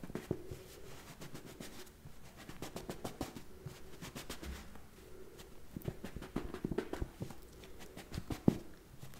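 A thick, small hardcover book with a black cover and cream paper pages, a solid block of paper, is held in one hand while the fingertips of the other tap on and fan through the top page edges, flipping the pages. Quiet, dry taps and quick papery flutters come in an uneven stream with a faint soft rustle between them, and each sound stops almost at once.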